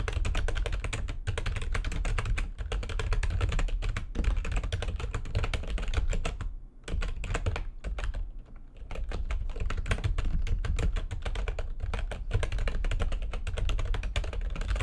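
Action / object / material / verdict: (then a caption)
tap / plastic computer keyboard / plastic / none. Fast typing with long nails and fingertips on a full-size plastic computer keyboard with white backlighting and a hollow housing. A dense, continuous stream of quick clacking keystrokes, each with a deep, hollow thud and a short bright click, pauses briefly around 7 and 8.5 seconds before resuming at the same pace.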